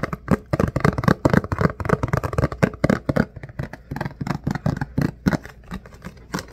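An empty, hollow, rectangular clear plastic food container with a lid is held in the hands, tilted, and tapped and scratched with fingertips and nails. The result is a rapid, uneven series of short, dry, hollow taps with a low body around 190 Hz and almost no ring, mixed with soft scratchy rustling between hits.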